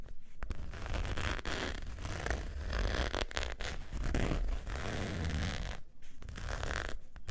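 Long nails scratch across the surface of a long beige saffiano-textured faux leather wallet with a zipper, lying flat. The result is a steady, dense, rasping scratch with a heavy low rumble and a brief pause near the end.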